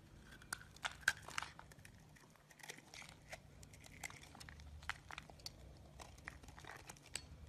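A hand-sized solid green bar of soap, held in one hand, is scraped and carved with the edge of a yellow-handled box-cutter blade. Many quick, dry crinkly scrapes and soft crunches sound close and bright, with no ring, over a faint low hum.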